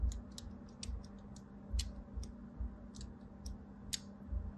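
A thin blade held in a hand scores diagonal lines into the surface of a solid rectangular white bar of soap, also held in hand. Short, bright scratching ticks sound at an irregular pace over a low, steady hum.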